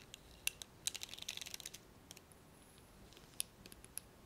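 Fingernails tap the handle of a blue plastic hairbrush and pluck its black plastic bristles, making short, bright, dry clicks and ticks. The taps come irregularly, with a quick cluster of crackly plucks in the first half and scattered sharp clicks after a quieter stretch.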